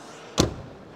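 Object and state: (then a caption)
Solid-sounding car door. A Dacia Bigster's steel car door with a thick rubber seal is shut once, giving a single solid, low thud with a brief bright click that dies away quickly. The door sounds solid, better than a BMW 1 Series door, thanks to the thick seal and improved acoustic insulation.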